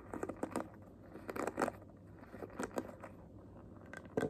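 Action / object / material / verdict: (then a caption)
tap / plastic paddle hairbrush / plastic / none. Long fingernails tap and scratch the back of the head and the bristle base of a handheld paddle hairbrush with a hollow, transparent purple plastic body and handle filled with liquid and glitter, and pink plastic bristles. Quiet, irregular bursts of short, crisp clicks and scratchy crinkling are heard, centred in the mid range and dying away quickly over a faint low hum.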